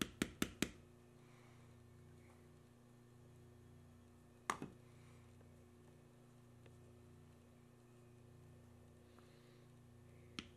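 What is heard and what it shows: A small steel beveler stamp, held by the fingertips against a flat, solid panel of tan vegetable-tanned leather carved with knotwork and lying on a stone slab, is struck with a mallet. Seven short, dry taps are heard: a quick burst of four at the start, a pair around the middle and one near the end. A low, steady hum continues underneath throughout.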